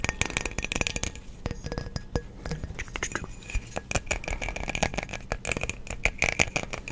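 A small hollow frosted glass light bulb with a metal screw base is held in the hands near the mic and tapped with the fingertips and nails. Dense clicks and taps with a high glassy ring follow one after another, along with a rattle that suggests loose parts inside.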